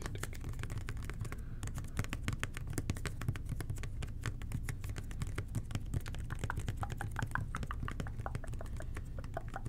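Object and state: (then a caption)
Plastic cleaner bottle tapped with fingertips. A hollow red plastic toilet cleaner bottle with an angled nozzle, held in both hands, is tapped and scratched with the fingertips. Quick, light clicky taps come in a dense, uneven stream over a steady low hum, with soft scratchy rustles in between. Each tap dies away almost at once.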